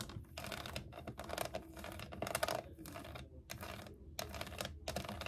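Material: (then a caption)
Plastic. Long acrylic nails tap and scratch the ridged, piñata-style sides of a hollow, shoebox-sized plastic toy case shaped like a unicorn, with a pink saddle and a handle. Bursts of dense, crisp clicking and rasping scratches with a bright edge and a faint ringing hollow tone come in quick runs separated by brief pauses.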